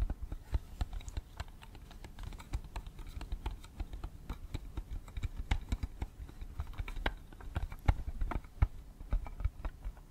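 A small, hollow, clear plastic audio cassette case with a red/pink insert is held in one hand and tapped rapidly with the fingernails of the other hand. The result is a steady, irregular stream of dry, clicky taps with a dull, low, hollow knock under them. Each tap stops almost at once, so the pattern sounds much like fast typing on a keyboard.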